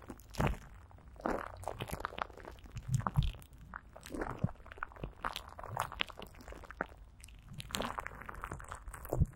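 Clear plastic film stretched over a hollow microphone grille and greased with Vaseline is rubbed and patted by greasy fingertips. Close, sticky crinkling and crunchy crackles come in irregular bursts over soft low thumps, with brief bright crackle edges and no ringing between touches.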